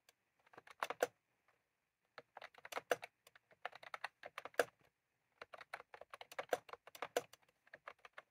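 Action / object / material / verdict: tap / plastic computer keyboard with round keycaps / plastic / none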